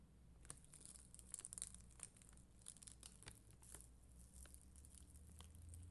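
A red and clear acrylic rhinestone sticker sheet is scratched with a plastic spoolie brush while long green nails rest on the sheet. Soft, crinkly scratching and crackling ticks with a bright, high hiss repeat over a low steady hum, staying quiet throughout.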